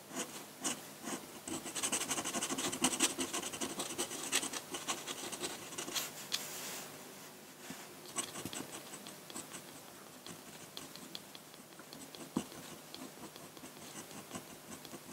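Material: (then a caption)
Paper. A metal dip pen nib scratches ink strokes onto a large, flat sheet of white drawing paper. The result is a steady stream of quick, bright, dry scratches and rasping strokes, busiest and loudest in the first half. It then settles into softer, sparser strokes with an occasional sharper tick.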